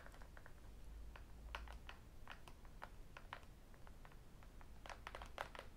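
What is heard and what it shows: Fingertips and metal rings tap the aluminum back of a thin, solid tablet held flat between the hands. Quick, dry clicks come in a steady patter of short, bright taps that die away almost instantly, over a low, soft rumble.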